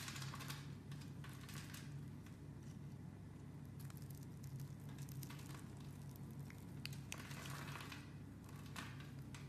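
A metal blade scrapes and cuts shavings off the scored surface of a green solid soap bar held in a hand with long dark nails. Soft, crumbly scraping and crinkling bursts with bright, hissy edges come and go over a steady low hum.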